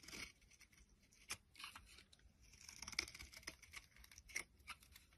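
A metal utility blade scrapes and shaves a solid, hand-sized rectangular yellow soap bar into curly flakes. Quiet, bright, crisp scraping strokes come at an uneven pace, with sharp papery rasps and little low-end body.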